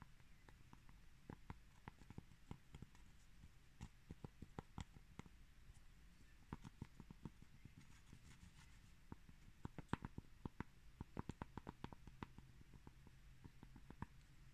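Two cork plates are tapped and bumped against each other, producing many short, dull knocks in an irregular rhythm over a soft, low background. The hits die away almost instantly with no ring, and their energy sits mostly in the low range around 125 Hz, giving a muffled, clip-clop-like texture.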